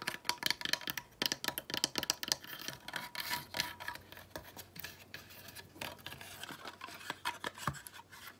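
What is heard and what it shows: A small decorative wooden sled made of weathered slats with a rope pull is held in the hand and scratched and tapped with long nails. Quick, dry clicking taps alternate with bright, raspy scratching, each sound cutting off almost instantly with very little low end.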